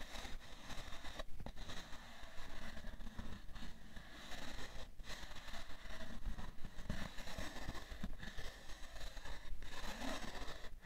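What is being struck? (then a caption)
Cardboard tissue box. Long manicured nails and fingertips tap and scratch the top of a rectangular printed cardboard tissue box with a plastic-film slot on top, hollow and probably filled with tissues. The result is a steady stream of dull, low taps mixed with dry scratching and crackling that die away almost instantly.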